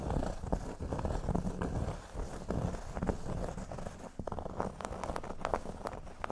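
Curled fingers with short nails scratch a large, flat, solid cork board shaped like a speech bubble. The result is a soft, dry, low-heavy scratching with rapid rustling strokes, giving way in the second half to sharper, brighter scrapes and ticks.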